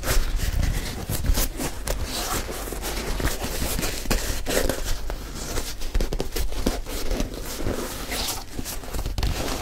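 Fingertips scratch the heel, collar and side of the leather upper of a single white leather high-top sneaker, which is hollow and empty with its opening shown. The result is a steady, close-up rustle of dry, crackly scratching over a low rumble, with brief louder strokes throughout.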